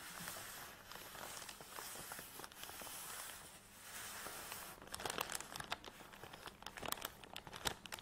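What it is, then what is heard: Nylon tripod bag scratched and tapped. Long nails scratch quickly across a black nylon tripod bag lying flat with the tripod inside, making a steady, bright, crinkly rustle. After a brief dip, the scratching gives way to a run of sharp, quick taps on the fabric, each dying away almost instantly.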